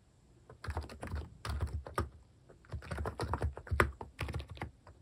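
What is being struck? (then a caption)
Capacitive keyboard with plastic keycaps. Fast fingertip typing on the plastic cat-design keycaps of a capacitive keyboard. The keystrokes land as short, deep, muted thocks in quick bursts with brief pauses between them, with little high-end click.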